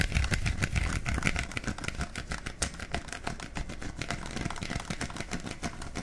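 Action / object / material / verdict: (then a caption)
tap / plastic bottle with cap / plastic / none. A hollow, clear plastic bottle with a black cap is tapped and scratched with fingertips near the cap. Quick, irregular taps give dull low thumps mixed with bright, scratchy clicks. They are loudest in the first second or so, then continue slightly softer and steady to the end.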